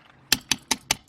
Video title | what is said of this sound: (Sold) 2019 Rockwood 8335BSS Signature Ultralite Front Kitchen King Bed Slide Travel Trailer | tap on this you can hear the difference